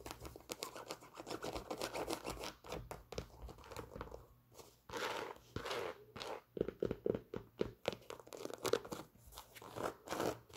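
A white Nike Air Force 1 sneaker, hollow and empty, with a leather upper, printed laces and a rubber sole, is held in the hands and tapped and scratched with long pink nails. Quiet, rapid clicks and crinkly scratching run throughout in dense bursts, with a brief quieter pause partway through.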